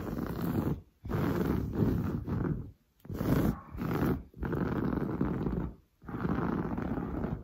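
Long blue nails scratch fast and hard across grey-brown, textured, padded woven sofa fabric. Dense, rough scratching comes in sustained bursts, heavy in the low range, with brief silent gaps between strokes.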